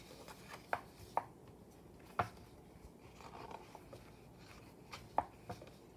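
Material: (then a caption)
Paper. Fingertips and a palm rub across the glossy paper pages of an open Daphne's Diary magazine lying flat, and turn them. Soft, hushed papery rubbing is broken by a few short, crisp snaps and flicks as the pages move.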